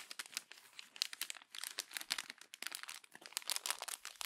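Fingertips and long nails crumple, rub and press the thin pages of a glossy paper magazine, giving dense, bright, crackling crinkles. The bursts come rapidly and unevenly over about four seconds, with short pauses near 1.5 and 2.5 seconds and no low-end body.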